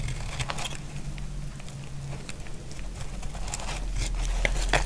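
A utility blade scrapes shavings off a solid, dry brown bar of soap, making short crackling, crinkly scrapes at an uneven pace. A steady low rumble sits underneath the whole time, and the scraping gets a little louder and brighter toward the end.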